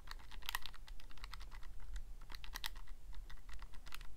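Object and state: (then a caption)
Plastic calculator buttons being pressed. Fingertips press the plastic keys of a Casio calculator in a rapid, uneven run of short, crisp clicks that sound bright and dry. The clicks stop almost instantly and sit over a steady low hum that fills the quiet between presses.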